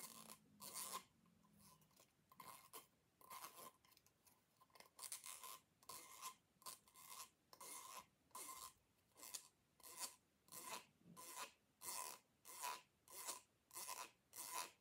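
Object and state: Plastic pop tube fidget toy being scraped.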